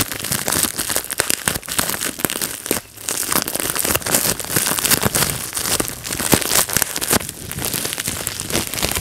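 A small sheet of clear, air-filled plastic bubble wrap is held in both hands while fingertips pinch and pop individual bubbles. Dense, rapid, bright pops and crinkling crackles run almost nonstop, with a brief lull near the three-second mark.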